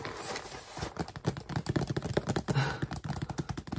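Fingers tap on a closed, medium-size green printed cardboard mailer box of Bundle Snacks held up in both hands. A soft, brushing rustle opens the clip, then gives way to a quick run of dull, hollow, low taps that stop short with no ring.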